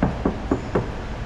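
Four quick knocks on the steel sheet-metal door of an MG ZS test the thickness of its panel. Each knock is short, dull and low-pitched, with almost no ring. The door metal is much thinner than on the older MG HS, a cost cut that may also help fuel economy.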